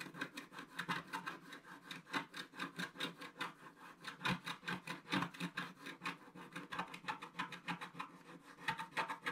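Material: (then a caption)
Coated paper. A wooden stylus scratches across a thin sheet of coated scratch-art paper in quick, repeated strokes. Each stroke makes a short, dry, raspy scrape with a bright, papery edge, and the strokes come in a steady, quiet rhythm for the whole clip.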